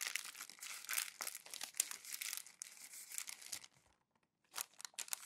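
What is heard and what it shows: Hands scrunch and roll the thin printed pages of an open glossy magazine into a crumpled bundle, making dense, bright crinkling and crackling with no low end. The crackling runs steadily for about three and a half seconds, fades to near silence, then returns in a few sharp bursts near the end.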